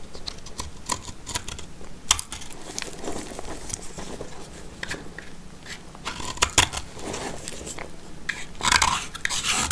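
A black utility knife blade scrapes and cuts a small, solid orange soap sliver held in the fingers. The result is a steady run of dry, crisp scraping and crackling clicks with bright, hissy texture, with sharper snapping cuts near the middle and a louder burst of scraping near the end.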